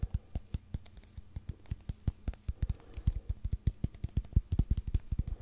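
A long, hollow brown cardboard tube held horizontally is tapped and scratched with fingertips and nails. Around 35 quick, muffled taps land in a steady, irregular rhythm, each a deep hollow thump that dies away almost instantly, with faint scratchy texture between them.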